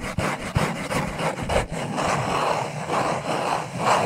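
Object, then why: Small cardboard box. A small, hollow black cardboard necklace package is rubbed and scratched with fingertips and short nails. The result is a steady, dry scraping and rustling with soft taps in the first half, then slower sweeping strokes that swell and fade in the midrange.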